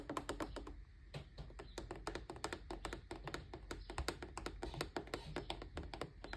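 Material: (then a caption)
Plastic. Fingertips and short nails tap and scratch the curved white plastic rim above a fan's grille, its hollow, rigid plastic shell. A rapid, uneven run of short, dry clicks and taps comes through, each dying away almost instantly, with bright edges over a low, hollow body.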